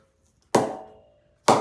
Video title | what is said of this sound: The Ravindra Jadeja Players Bats, Review of Bat 1/2. Get these online now www.brewingcricket.com | It's just pinging. I'm not even moving my bat in the hand and it pings everywhere.